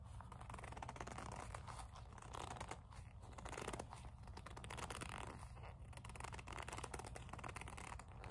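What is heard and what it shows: Long nails tap and rub the leather of a small black leather kiss-lock coin purse with a metal frame, held in both hands. Soft, continuous scratchy rubbing and light tapping sit over a steady low hum.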